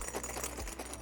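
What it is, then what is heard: Jingling metal zipper pull rings. A Trakke Eigg waxed canvas sling bag is shaken so its metal ring zipper pulls bang against each other, making a steady, bright metallic jingling and clinking. The rings are judged too noisy, rattling loudly whenever the bag moves; spacing the zippers apart makes them only a little quieter.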